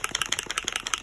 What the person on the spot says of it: having those inside those marbles inside to stir the ink is everything